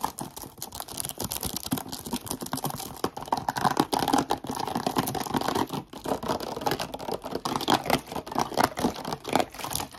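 An empty, partly crushed, hollow clear plastic Brecon Carreg water bottle of about 500 ml is squeezed, crinkled and tapped with short decorated nails and fingertips. The result is a fast, continuous stream of dry clicks, taps and crackling crinkles, centred in the midrange around 800 Hz. Each sharp tick dies away almost instantly.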